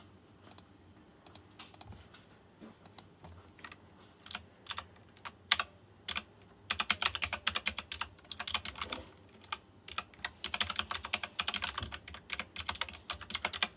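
Fingertips type on a white plastic mechanical keyboard with round chrome-rimmed keycaps. Sparse, separate bright clacks at first give way to fast, dense bursts of typing after about six and a half seconds. Each click is short and sharp with almost no ring.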